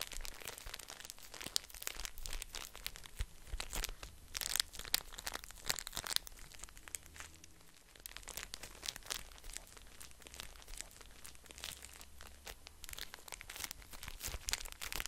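A small pocket pack of paper tissues in a printed plastic wrapper is held in both hands and crinkled and scratched with fingertips. Dense, bright crinkling and crackling runs throughout, with sharp louder bursts over a faint low hum.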